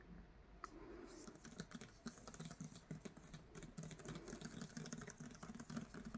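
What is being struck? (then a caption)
Hardcover book with paper dust jacket. Fingertips and nails rapidly tap and scratch over the paper dust jacket of a solid *Castles in Their Bones* hardcover book lying flat on a bed sheet. The result is a quiet, dense stream of soft, dull taps with a low thud around 230 Hz. Light papery scratching and brief high, bright ticks run through it.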